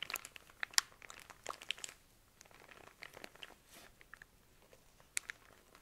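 A soft pack of cotton pads in crinkly clear plastic wrap is squeezed, turned and scratched with fingernails. The wrap gives bright, dry crinkles and sharp crackles, busiest in the first two seconds, softer and sparser in the middle, with one sharp crackle near the end. There is almost no low end, and each snap stops instantly with no ring.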